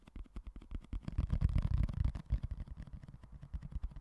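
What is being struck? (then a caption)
Small clear plastic food container. Fingertips and nails tap and scratch the lid and side of a small, empty, hollow, clear rectangular plastic food container held in one hand beside the mic. A quick, uneven run of dull, low, hollow taps with brief soft scratching, swelling louder around the middle. Each tap stops short with almost no ring.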